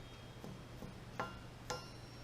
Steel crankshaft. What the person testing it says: can you hear the ring that's how you can tell forge crank nice ring mine sounds like a dull thud